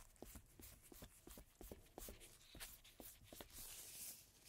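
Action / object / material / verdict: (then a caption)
scrape / coated cardstock playing card rubbed with a cotton swab / cardstock / none. A cotton swab held in a red-gloved hand scrubs and rubs the surface of a single thin, coated-cardstock playing card with a black printed back, lying flat on a table. The quiet, dry scratching strokes come in quick, uneven bursts with a bright, papery hiss. Each stroke fades almost at once.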